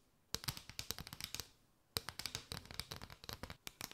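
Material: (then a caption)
Paper. Long nails scratch and tap a mat of hollow chevron paper straws, first arched and then draped over the mic. Quick, dry, crisp clicks and scratchy rustles come in two dense bursts split by a short pause, with a bright papery top and almost no ring.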